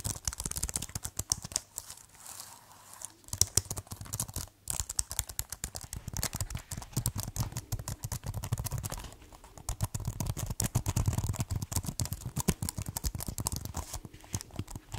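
Fingertips type on and tap the keys of a white plastic keyboard case, producing a dense, irregular stream of short, dry clicks and clacks with bright edges. A low steady hum sits underneath, with a few brief pauses in the typing.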